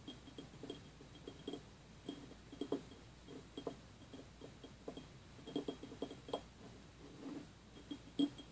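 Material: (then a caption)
Glass. A small, empty, clear glass jelly cup with a printed cartoon label, standing on a wooden table, is tapped and clicked with fingertips and fingernails around its sides and rim. The result is a quiet, irregular run of soft, dull taps and light clicks with a low-mid tone and almost no ring, over a faint steady high whine.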